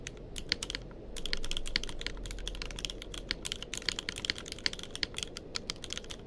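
Fingertips of both hands type continuously on a tenkeyless mechanical keyboard with plastic keycaps. Rapid, bright, sharp key clicks with almost no ring are heard over a steady low rumble.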